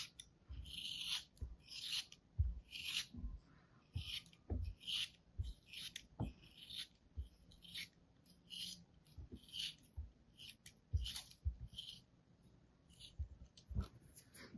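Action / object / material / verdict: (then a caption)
scrape / molded kinetic sand block cut with a thin metal blade / kinetic sand / none. A small solid lump of molded kinetic sand, held in the fingers, is sliced and scraped with a thin metal blade, with crumbs falling off. Repeated short gritty rasping strokes give a bright, high crunchy hiss over soft low thuds, with brief pauses between cuts.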